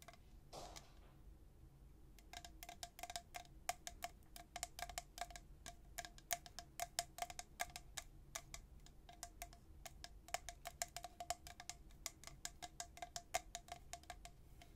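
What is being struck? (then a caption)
Stainless steel tumbler. A tall, hollow, white-coated stainless steel travel tumbler with a black plastic lid is held in one hand and tapped and brushed by the fingertips and nails of the other hand. A brief brushing sweep is followed by a quiet, rapid series of light, bright taps, each carrying a short metallic ping around 700 Hz that dies away almost at once.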